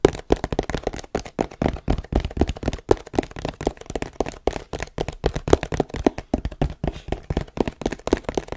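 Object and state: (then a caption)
Cardboard box tapped. A long, hollow, printed cardboard tripod box, held tilted in front of the mic, is tapped rapidly with fingertips and scratched with nails. Dozens of short, dull, hollow thuds come at an irregular pace of about three to four per second, mostly low and midrange with little brightness and almost no ring.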